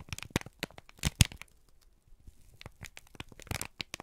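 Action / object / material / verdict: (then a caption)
scrape / thin kraft paper sheet / paper / none. A single thin, crumpled sheet of brown kraft paper is held in both hands and squeezed and crinkled with the fingertips and thumbs. It makes bursts of sharp, dry crackles and crinkles, with a loud crunch near the middle. After a brief quieter pause, the crackling picks up again toward the end.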